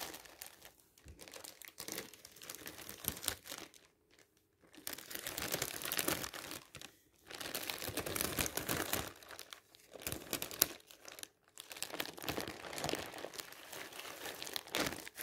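A large, thin, clear polyethylene bag printed with recycling text lies as a flexible film over a flat object and is rubbed and pressed flat by a palm and fingertips. This produces bright, hissy crinkling in bursts of a few seconds, separated by brief quiet gaps, with little low end.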